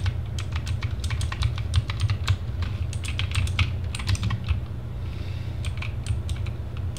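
Continuous typing with fingertips on a compact RGB mechanical keyboard, the Sherman Mini TGT, with plastic keycaps and a plastic case, resting on a desk. Dense, rapid, bright clacky keystrokes sit over a steady low hum.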